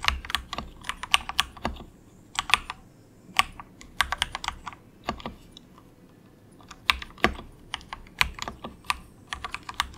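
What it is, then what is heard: Plastic mechanical keyboard. Fingertips of both hands type softly on a cheap compact 68-key plastic mechanical keyboard with a hollow case, resting on a desk mat. Quick bursts of bright, clacky keystrokes with very short decay are broken by brief pauses, with little low-end weight.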